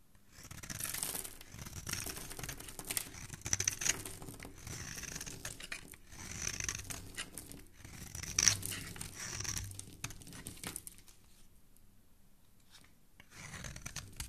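A small dark blade scrapes and shaves the face of a solid oval orange bar of soap held in one hand, with shavings piling up on the wooden table below. Bursts of bright, dry scraping and crinkly shaving come in waves, fall quiet for a moment, then start again. The soap's surface is left smoothed.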